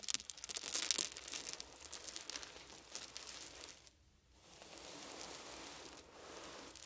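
Fingertips rake and rub through a pile of small round wooden beads, then scoop them up in cupped hands. Dense, bright clicking and rattling peaks in the first second, then thins to a softer rustle. After a brief near-silent pause, a steady, quieter shuffling of beads follows.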